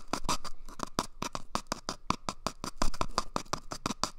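Fingernails scratch an empty, hollow cardboard toilet paper tube held at the microphone's ear as it moves from the right ear to the left. A rapid series of short, dry, raspy scratches rises and falls in loudness, with a hollow papery tone ringing briefly around 1 kHz and a bright crackling edge.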